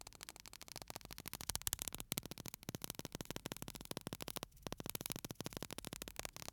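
A small clear bottle full of white sand, with an aluminium cap, is held upright in one hand and slowly tilted and shaken so the sand falls inside. Quiet, dense, crackly granular rustling fills the clip with bright broadband grit and short ticks. It pauses briefly near 2 and 4.5 seconds before the pouring resumes.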